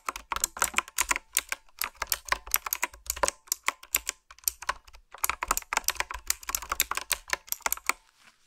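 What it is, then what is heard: Retro-style mechanical keyboard. Fingertips type on a black retro typewriter-style plastic mechanical keyboard with round, metal-rimmed keycaps. Quick runs of sharp, bright clicks and clacks come with almost no ring, broken by a short pause midway before the tapping picks up again and stops near the end.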